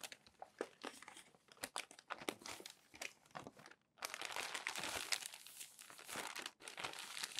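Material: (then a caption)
Paper. Hands turn the crinkly pages of a crumpled, glossy paper magazine stack and smooth them flat with the palm. Sharp, bright crackles and crinkles come in quick bursts, then after a brief pause a denser, continuous rustle of pressed and shifting paper follows.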